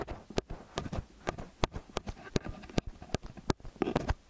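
Fingertips and nails grip, press, rub and tap the two silver capsules of a small hollow metal X/Y stereo microphone up close. A quick, irregular series of short, dull, bass-heavy thumps and taps rises over soft scratchy rubbing, with each hit dying away almost instantly.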